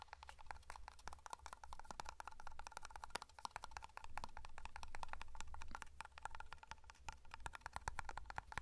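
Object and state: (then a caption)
Metal hair cream tin. A small black round metal tin of matte hair cream is held in one hand while fingernails tap and scratch its lid and side. Quick, dense, crisp clicking and ticking ring briefly, centered near 1 kHz, over a steady low hum. The taps and scratches stay quiet and close throughout.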